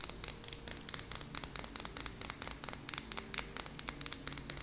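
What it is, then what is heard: Glass nail polish bottle. A small, apparently full purple glass nail polish bottle with a white plastic cap is tapped with long nails. About two dozen quick, bright clicks follow in an uneven rhythm, each sharp and dry with almost no ring.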